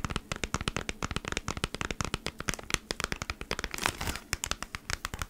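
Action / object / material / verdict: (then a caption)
scrape / cardboard package in a plastic sleeve / plastic / none. Long fingernails scratch rapidly across a flat beeswax wrap pack, a cardboard package in a plastic sleeve, making dense, dry, crinkly scratches with sharp, bright attacks that stop almost instantly. Dozens of quick strokes run in a steady rhythm, with a brief, louder, hissing crinkle just before the four-second mark.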